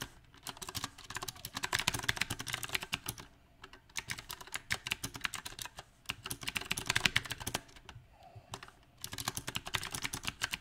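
Both hands type with fingertips on a compact backlit mechanical keyboard with round plastic typewriter-style keycaps. The result is quick, bright clicking keystrokes in uneven bursts with short pauses between them, each key dying away almost at once.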